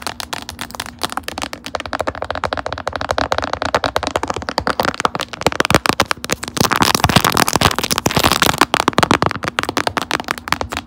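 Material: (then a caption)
Plastic. Long acrylic nails rapidly tap and scratch the raised puffy panels of a glossy, metallic lilac, quilted plastic puffer phone case on a phone held in a stand. The hollow-backed, phone-sized case gives dense, fast, dry clicking and crackly scratching with very short ring. The sound grows louder and busier in the second half.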